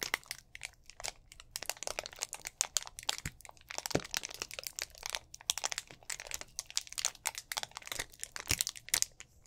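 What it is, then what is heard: Plastic drink bottle being crinkled. Fingers squeeze and crinkle the thin walls of a hollow, mostly empty clear plastic drink bottle with an orange cap, held in both hands. The result is a continuous run of dense, bright crinkling and crackling with rapid sharp snaps, almost no low end, and no ring after each pop.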